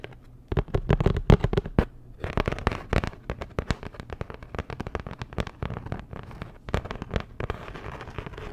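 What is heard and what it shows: Long nails tap and scratch across a flat, postcard-sized printed cardboard Dior packaging card. Quick, dry clicks with almost no ring come in uneven bursts, louder near the start, then give way to denser crackly scratching with a faint bright hiss toward the end.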